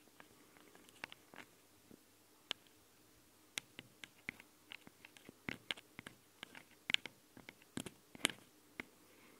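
Long nails tap and scratch on the metal microphone capsule housings of a Tascam handheld recorder. About eighteen sharp, bright clicks and scrapes land at an irregular pace over a quiet, faintly hissing background. Each one dies away almost instantly.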